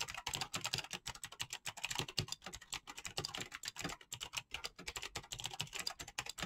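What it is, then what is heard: Mechanical keyboard with plastic keycaps. Fingertips with painted nails type rapidly on a backlit mechanical keyboard with clicky green switches and pastel PBT plastic keycaps. Fast, bright, crisp clicks come in a steady, uneven stream with very short decay.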